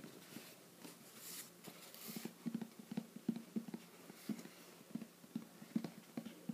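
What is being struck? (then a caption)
Cardboard box. Fingertips tap the lid and sides of a closed, hollow, shoebox-sized teal printed cardboard "Treats" subscription box while it is held and tilted. The result is a series of soft, dull, hollow knocks with a low tone around 220 Hz, each dying away almost at once, over faint rustling and hiss.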